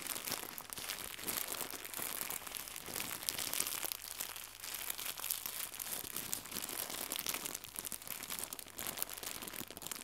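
Fingertips with red nails squeeze, stretch and crumple a small white crinkly plastic gift bow. The result is a steady, quiet stream of dense, bright crackling and crinkling with almost no low end. The short, dry snaps run together for the full clip.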